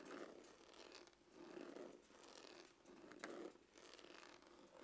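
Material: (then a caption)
Faux leather. Fingernails scratch quickly across the surface of a dark, textured faux-leather glasses case with a hollow hard shell. The strokes give a soft, raspy scratching that swells and fades in repeated passes, with a hollow midrange body and a bright, airy hiss on top.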